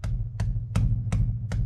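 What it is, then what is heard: Securely mounted exhaust, no rattles. Evenly spaced dull knocks ring briefly over a steady low hum as someone bangs by hand on the newly installed, factory-correct stainless steel exhaust of a 1973 Mercedes-Benz 280SE 4.5 to check it. No rattles follow, since a bracket was bent up to keep the spring from hitting the pipe, so the system is securely mounted.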